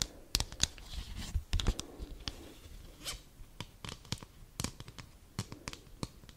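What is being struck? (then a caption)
Folded cardboard greeting card. Long burgundy nails scratch and tap the back of a thin, folded white cardboard Christmas card held close to the mic. The result is a quick, uneven series of sharp, dry clicks and tearing-like scrapes with bright, crisp edges over soft low thumps, each stopping dead with no ring.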